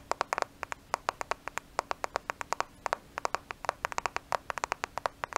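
A black smartphone with a glass and plastic body is held in both hands in front of the microphone and tapped on its flat surface with fingertips and nails. About 38 quick, dry clicks come in uneven bursts, each centered near 960 Hz with a bright edge and almost no ring. A faint steady hum sits underneath.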